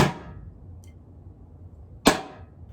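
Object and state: Thud from a plastic adhesive tub.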